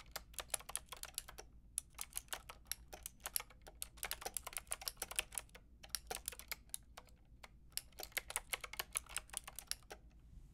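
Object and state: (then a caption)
Plastic mechanical keyboard being typed on. Long painted nails and fingertips type on a white-and-pink Lofree mechanical keyboard with round plastic typewriter-style keycaps and a hollow plastic case. Quick, bright, clacky keystrokes come in rapid bursts separated by brief pauses, each dying away at once over a faint low hum.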